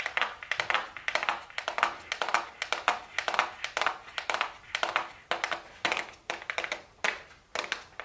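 A small, flat, hollow, closed gold cardboard makeup box labeled "golden" is held in the hands and tapped with super long blue acrylic nails. Quick, dry, clicky taps come in irregular bursts, with a hollow midrange tone and a bright top. Each tap dies away almost at once, with no low end.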